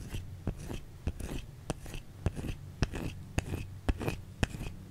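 A white solid bar of soap held in the hand is tapped and scratched with long fingernails. Short, dry, sharp taps alternate with soft bursts of scratchy rasping at an uneven pace, over a faint low hum.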